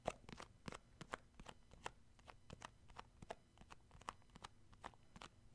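Fingertips grip and tap the lid rim and side of a round plastic shea butter tub, a cosmetic jar held sideways. A quick, uneven series of short, dry plastic clicks and taps sounds with very little ring, with a slight midrange tone around 640 Hz among soft crackly rubbing.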